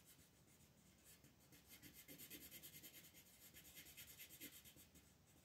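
A green wooden colored pencil is rubbed with shading strokes over a leaf area on a flat, thin paper page of a dragonfly coloring book resting on a table. Quiet, bright, scratchy rubbing is heard as rapid, fairly uneven back-and-forth strokes that grow slightly louder and more rhythmic midway through.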